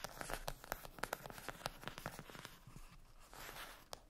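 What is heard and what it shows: A closed, flat rectangular cardboard eyeshadow palette lying on a fluffy blanket is scratched and tapped with long acrylic nails. The sound is a quiet run of sharp, dry clicks over a papery scratching rasp, with no ringing after each tap. Near the end there is a softer stretch of scratching before two final crisp taps.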